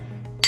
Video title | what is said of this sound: Grinding Wheel Installation and Setup | if the stone is cracked it would have a dull sound but as this one here is a good stone and i hit it you can hear a very clear ring